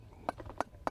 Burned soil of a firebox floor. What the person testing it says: hard almost slate like tapping sound that's because the walls and floor of this firebox got so hot that the soil burned